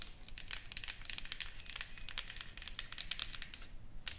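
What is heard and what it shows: Long painted fingernails tap and scratch across a solid, flat wooden sign with painted flowers and lettering, lying on a table. Dense, quick, crisp clicks and dry scraping run throughout, bright and high-pitched with almost no ring after each touch.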